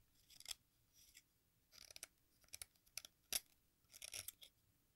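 An exacto knife shaves the red face and edge of a solid watermelon-shaped sidewalk chalk slice over a pink bowl. Quiet, bright, dry scraping comes in short bursts, with a sharper, louder scrape near the middle and a cluster of raspy strokes toward the end.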